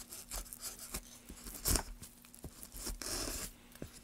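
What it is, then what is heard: Pine wood block. A solid pine block is scraped and carved along the grain with a metal gouge held in gloved hands. Bright, rasping scrapes come in irregular bursts, with the loudest stroke near the middle. Short, dry clicks mark the cuts over a faint steady low hum.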